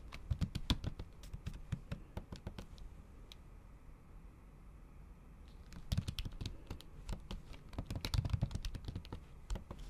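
Long acrylic nail tips typing on a MacBook Pro keyboard, its plastic keys under a thin pink patterned silicone cover. Quick, irregular clicky taps come in two bursts with a quieter pause of light tapping around the four-to-six-second mark. Each tap is short and dry, with a dull low thump under a bright nail click.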